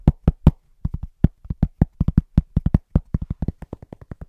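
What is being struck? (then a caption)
Flat cork board. Fingertips of both hands tap very fast and rhythmically on a large, round, flat, solid cork trivet board. The result is 26 short, dull, low thuds with almost no ring, quickening toward the end.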